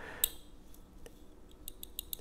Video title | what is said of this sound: CKF Fif20 - The Best Version? | you can hear the the tapping that kind of drives me crazy on some knives